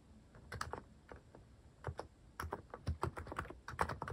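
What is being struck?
Mechanical keyboard with plastic keycaps.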